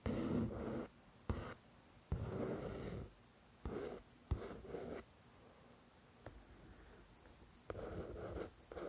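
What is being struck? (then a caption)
Paperback book with glossy paper cover. Long nails slowly scratch and trace across the glossy front cover of a solid paperback copy of "The Shack." Soft, papery rasping comes in eight separate strokes, some starting with a faint tap, with quiet pauses between them.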